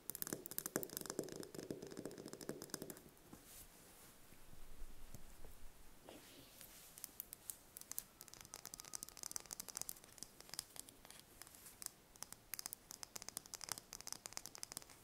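A small whole brown hen's egg held in hands is tapped and scratched with long painted fingernails. Dense, irregular clicks and light scraping rustle at a soft level, with a fuller, lower textured patch in the first three seconds and bright, crisp ticks through the rest.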